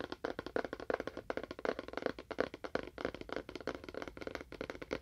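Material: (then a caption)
Cardboard. A small, hollow rectangular cardboard phone box with a faux wood finish is held in both hands and tapped with fingernails. About 29 quick, dry clicks land in an irregular rhythm, each with a short hollow knock around 500 Hz that dies away almost at once.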